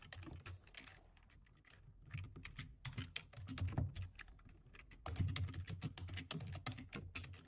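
Both hands type quickly with their fingertips on a low-profile plastic computer keyboard. Quick, irregular bursts of short, sharp key clicks with bright ticks sit over a soft low thump. The typing briefly thins out to scattered taps early on, then picks back up into dense, rapid clatter.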